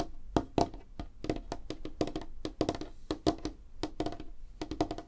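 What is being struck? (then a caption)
Light wooden tabletop. Long fingernails on both hands tap quickly across a large, flat, solid light-wood tabletop, making a rapid, uneven run of about twenty-two dry, clicky taps. Each tap is short and woody, with a hollow body around 300 Hz and a bright click on top, and dies away almost instantly.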